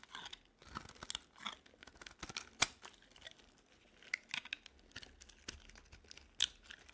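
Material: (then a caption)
Soap. A metal blade scrapes and shaves pieces off the edge of a solid, peach-coloured, stamped bar of dry soap held in the hand. The sound is a quiet, bright, dry scraping, broken by repeated crisp, crackly shaving strokes and sharp little clicks with almost no low end. The shaves die away instantly, leaving faint hiss between strokes.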